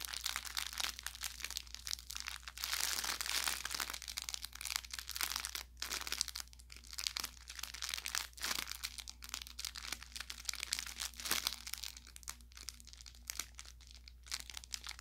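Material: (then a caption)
Fabric, crinkle film. A soft-stuffed orange velour plush carrot toy with crinkle filling is squeezed along its seams by a thumb and fingertips. The result is dense, bright crinkling and crackling with quick sharp pops that swell and fade over a faint steady low hum.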